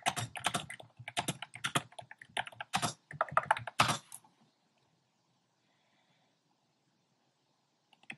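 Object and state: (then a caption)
Plastic mechanical keyboard. Fingertips type on a compact plastic mechanical keyboard with round pastel plastic keycaps in a dark frame. About four seconds of quick, irregular, bright clacking keystrokes are followed by near silence, then a few faint clicks at the very end.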